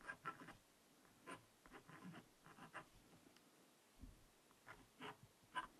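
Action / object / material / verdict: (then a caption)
scrape / coated scratch-art paper notepad scratched with a wooden stylus / coated paper / none. A wooden stylus scratches letters into the coating of a small spiral-bound black scratch-art notepad made of coated paper, resting on fabric. Quiet, dry scratching strokes come in short bursts separated by brief pauses, each stroke a faint, bright rasp that stops without ringing.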